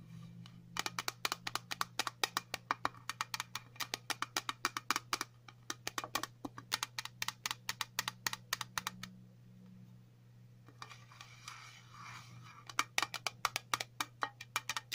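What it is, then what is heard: Metal tin tapped with fingernails. Long natural nails tap rapidly on the lid of a round, flat, printed metal tin for a dog flea collar, hollow and resting on a table, producing dozens of sharp, bright, dry clicks with almost no ring. Midway the tapping pauses and gives way to a soft, hissy scratching across the lid before quick tapping resumes. A faint steady low hum runs underneath throughout.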